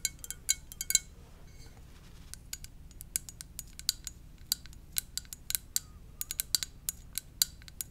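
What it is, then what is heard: Ceramic mug tapped with fingernails. Long dark nails tap the body of a hollow blue and white ceramic mug shaped like a VW bus, held in both hands. About 29 sharp, bright clicks come at an irregular pace, each dying away almost instantly with a high, glassy tick.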